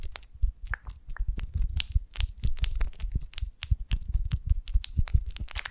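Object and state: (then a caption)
Beeswax honeycomb scratched with nails. Long nails of both hands scratch the wax cell surface of a golden beeswax honeycomb held upright on a branch, with a twig on top. The result is a dense run of quick, crisp crunching scrapes. Each scrape carries a low thump and a bright crackly edge.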